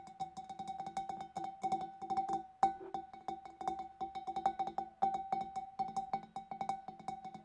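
Long dark nails tap rapidly on the neck and rim of a large, clear, empty glass fish bowl. The taps are quick, crisp clicks with bright high edges over a steady glassy ring near 780 Hz that fades fast after each tap, with a few louder strikes standing out along the way.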